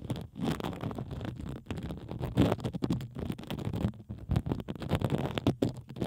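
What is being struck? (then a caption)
Plastic bubble wrap sheet. A pink plastic bubble wrap sheet draped over the microphone is scratched by fingertips and long acrylic nails dragging across the bubbles. The result is a close, continuous scratchy rustle and crackle, muffled and heavy in the low end, rising in irregular louder bursts.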